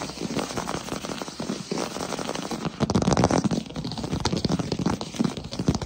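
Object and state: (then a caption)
Wooden floor. Both hands tap quickly on a solid wood-look plank floor with fingertips and short nails. The result is a dense, crackling run of short, dry taps with a soft low thud beneath them, getting louder around the middle of the clip.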